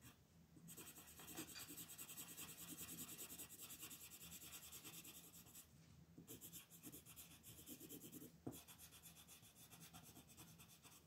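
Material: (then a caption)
Paper. A blue wooden colored pencil, held in fingers with long painted nails, rubs and scratches across a thin white paper coloring sheet lying flat on a dark wooden table, coloring in a beetle's eye. Fast, bright, raspy strokes run almost continuously, with short pauses near the start and around six seconds and a sharper scratch just after eight seconds.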